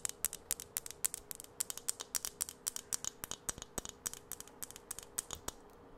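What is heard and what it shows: A filled plastic Jolly Rancher aroma beads jar is held up and tapped and scratched with long acrylic nails. About 39 quick, sharp, bright clicks and scratches come in an uneven rhythm, each dying away almost instantly, over a faint steady low hum.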